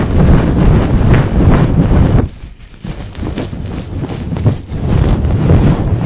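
A white paper tissue, held by fingertips with long nails, is rubbed fast and hard over the hollow woven metal mesh grille of a large condenser microphone. It makes a loud, deep, rumbling scrubbing sound that briefly drops quieter around the middle before the rough rubbing picks up again.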